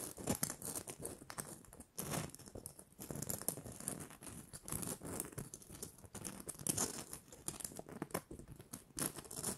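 Long nails scratch the rough glitter coating of a small, hollow, red glitter-coated plastic Christmas bauble with a gold cap. The result is a dense, crackling, papery scratching with bright hiss and soft low thumps, rising and falling in quick bursts.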